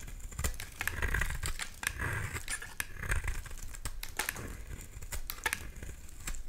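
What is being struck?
Solid bar of soap.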